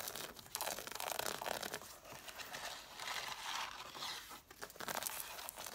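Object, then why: Stack of cloth-bound hardcover books, page edges. Long nails fast tap and scratch along the solid paper page edges of a stack of red cloth-bound hardcover books. The result is a continuous dry, papery rustle and crinkle with bright, scratchy texture and quick soft taps, fluctuating in intensity with almost no low end.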